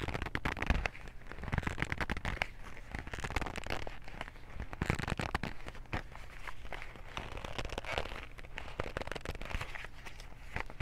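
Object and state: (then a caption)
Cardboard cotton swab box. A small white printed cardboard box of cotton swabs, hollow with its contents inside, is gripped with both hands and scratched with fingernails. The result is a dense, continuous run of dry crackling and scratchy ticks over a low handling rumble, with a few louder crinkly bursts.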